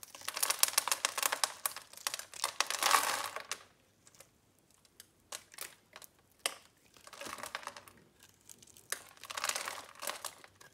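A metal utility blade scrapes and cuts scored cubes off a solid green bar of soap held in the palm. Dense, crisp, crumbly scraping bursts come in clusters, bright and dry with no ring. A short quiet gap follows the first long stretch, then scattered sharp cuts and two more scraping runs.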